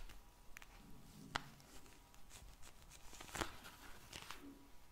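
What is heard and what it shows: A soft, filled pink vinyl gel bead eye mask is rubbed and scratched with long nails and fingertips. The result is quiet, uneven scratching and squishy rubbing, broken by two sharper, brighter clicks.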